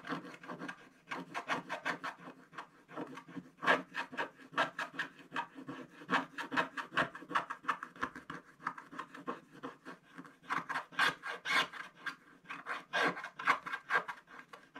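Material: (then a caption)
Coated card. A wooden stick scratches the remaining black coating off a coloured scratch-art card page in a spiral book lying flat on a table. Quick, dry, rasping strokes come in a steady run with short gaps, each a brief papery scrape with a bright edge and a core around 1.1 kHz, with almost no low end.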